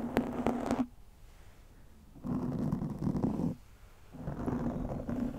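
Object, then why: Foam microphone windscreen. Long nails scratch and rub a black foam windscreen over a microphone. Three bursts of dense, low, rumbling scratching are separated by quiet gaps, and the sound stays dull and muffled with no high, bright content.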